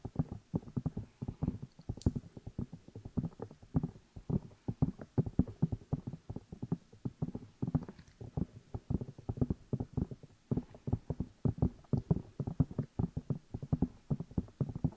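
Fingertips tap and rub the two hollow rubber or silicone ear pieces of a black binaural microphone while the hands cup them. The result is a fast, steady stream of dull, muffled low thumps that stop almost instantly, with faint brushing between them.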